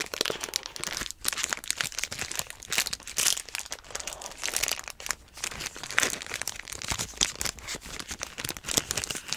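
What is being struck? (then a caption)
Metallic foil snack bar wrapper. Fingertips wrapped in tape crumple and crinkle a small metallic-foil energy bar wrapper that has been torn open at the top. The result is a dense, continuous stream of bright, sharp crackles that rise and fall in loudness, with almost no low end.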